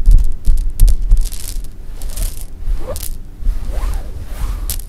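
Sugar-shelled jelly beans are gathered, rubbed and rolled under fingertips on soft fabric. Soft, low thumps come first, then bright, crisp clicking and rustling with occasional sliding swishes as the beans roll and scrape against each other.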